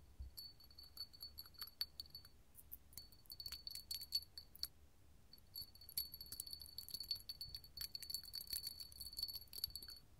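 A small, hollow, empty clear hobnail glass candle holder held in the hand is tapped and scratched with long gold metal filigree nail claws. Quick, bright clicks and scrapes come in dense flurries, with a short lull near the middle, over a faint, steady, high glassy ring. The taps are short and crisp, with little low end.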